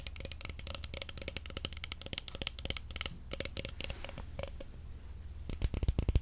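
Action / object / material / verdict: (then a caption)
tap / plastic stretch film roll / plastic / none. Long nails rapidly tap and scratch a large roll of clear plastic stretch film held close by, making a dense run of sharp, crisp clicks with short scratchy strokes. A steady low hum sits underneath, and the taps grow louder and more clustered near the end.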